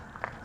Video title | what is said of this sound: (Sold) HaylettRV.com - 2011 Open Range 340FLR Journeyer Used Front Livng Room Travel Trailer RV | this is aluminum screw trim you can hear my ring tapping on that it's not plastic